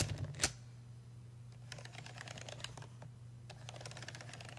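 A fingertip traces and taps over the buttons of a solid, brushed metal payphone keypad and the surrounding metal faceplate panel. One sharp, bright click comes early, then light, irregular taps and soft scratchy strokes follow. A steady low hum runs underneath throughout.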